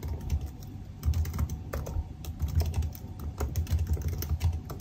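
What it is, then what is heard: Laptop keyboard with plastic keys. Fingertips type rapidly on the black plastic keys of a silver aluminium laptop keyboard. The result is a dense, steady stream of soft key taps, mostly low and thumpy, with faint bright clicks on top and short decays.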